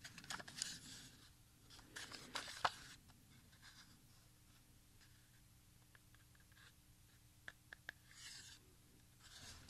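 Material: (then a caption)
Plastic. A small, hollow TDK compact audio cassette with a clear smoky translucent plastic shell, tape reels inside and a handwritten label is held in both hands and turned while fingertips click and rub the shell and reels. Quiet, bright plastic clicks and soft scratchy rubbing come in irregular bursts over a faint steady low hum, with a few sharper ticks near the end.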